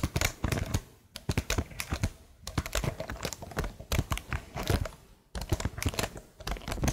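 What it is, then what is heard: Plastic laptop keyboard. Long nails tap and type on the hollow plastic keycaps of a plastic laptop keyboard, seen close up. Quick bursts of short, dry clicks carry a low, hollow knock with bright edges. Brief pauses break the bursts before the tapping resumes.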